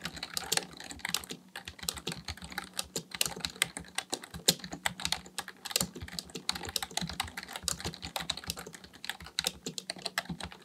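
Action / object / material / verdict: tap / plastic membrane computer keyboard / plastic / none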